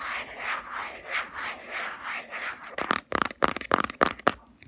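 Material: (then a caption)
Plastic. Long fingernails scratch along the black rim of a round plastic Body Shop Hemp body cream jar, making soft, rhythmic rasping swishes. They then tap the lid in a quick series of sharp, bright clicks with a hollow plastic ring around 1.2 kHz.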